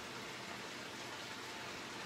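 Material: Nothing is struck.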